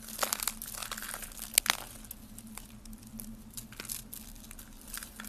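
Hollow, brittle rolls of dry yellow soap curl are squeezed and crushed between lavender-nailed fingertips over a pile of yellow soap flakes. Bright, dry crinkling and crunching fills the clip, with a few sharper snaps early on that settle into a quieter, steady crackle over a faint low hum.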